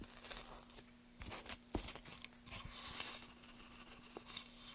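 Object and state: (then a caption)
Softwood board being carved. A gouge scrapes and carves grooves into a solid pale softwood board held in place by a gloved hand. Quiet, crisp, crunchy scraping strokes come in uneven bursts, bright and papery like tearing, over a faint steady low hum.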